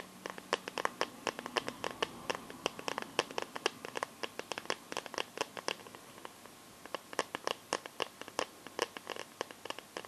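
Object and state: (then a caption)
Plastic glitter phone case. Fingertips and nails tap and scratch the back and edges of a phone in a plastic glitter liquid case, making a rapid run of dozens of sharp, bright clicks with almost no low end. The taps pause briefly just before the seventh second, then resume at the same quick pace.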